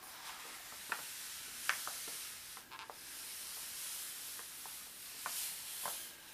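A bare palm and fingertips rub and smooth the flat, thin glossy page of a large hardcover World Book Atlas lying open, then a page is turned by hand. The sound is a quiet, steady, bright papery hiss with no low end, broken by a few faint, sharp crinkles and ticks.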